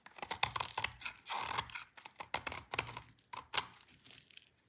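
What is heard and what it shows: A hand-sized solid light pink bar of dry soap, held in the hands, is shaved with a utility knife blade that scrapes off brittle curls. Quick, dry, bright crunching clicks come in a rapid uneven series, with one longer rasping scrape partway through, and then trail off quietly.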